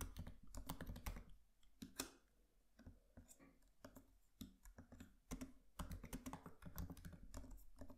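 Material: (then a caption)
Plastic. Fingertips of both hands tap rapidly on the black plastic keys of a MacBook Pro laptop keyboard with an aluminium body. The result is quiet, dull, low-heavy clicks in uneven bursts, with a sparser stretch in the middle before the fast typing resumes.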